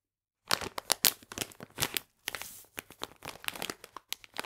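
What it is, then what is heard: Crinkled plastic bag of polenta. A full plastic bag of polenta is held in the hands while the fingers squeeze and crinkle its sides. After a brief silence, bright, dry crinkling and crackling come in irregular bursts, pausing briefly partway through before continuing.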